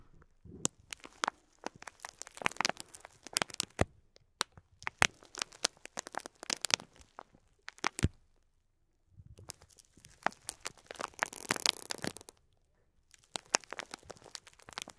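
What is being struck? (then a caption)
Clear plastic bag of plastic pearl beads. Fingertips with short nails press and crinkle a clear plastic bag of faux pearl beads. The result is bursts of bright, dry crinkling and sharp crackling clicks, separated by brief quiet pauses.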